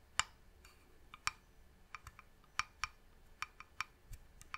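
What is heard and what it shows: Long nails tap on the top and edge of a medium hollow varnished wooden box sitting beside the mic. The separate, sharp clicking taps are bright and quiet, and each dies away almost instantly over a faint background hiss.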